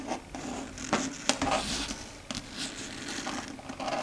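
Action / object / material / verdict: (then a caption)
scrape / chalkboard surface tapped and scratched with long fingernails / slate board / none. Long red stiletto nails tap and scratch across a flat, dark grey, matte, solid chalkboard. Soft, bright scraping and scratching runs throughout, broken by a few sharp clicking taps that die away almost at once. The sound stays quiet and close.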